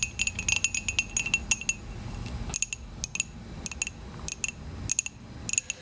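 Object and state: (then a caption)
Ceramic mug tapped with fingernails. Long acrylic nails tap and scratch the side of a hollow, dark glossy ceramic coffee mug. The result is a quick run of short, bright clicking taps with a high ringing tone, separated by soft scratching, with almost no low end.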